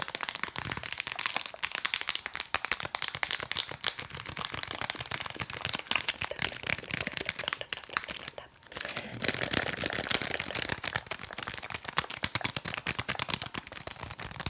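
Fingers tap quickly and aggressively on a nail file, producing a dense stream of crisp, bright clicks and scratchy crackles with almost no ring. The tapping briefly fades near the middle, then resumes at the same fast pace.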